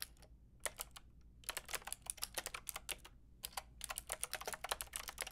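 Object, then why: Plastic mechanical keyboard with round keycaps. A white and pink Lofree mechanical keyboard with round plastic keycaps is typed on with long painted nails and fingertips. Bright, dry, clicky taps come in quick bursts separated by short pauses, each one ending almost instantly, over a low steady hum.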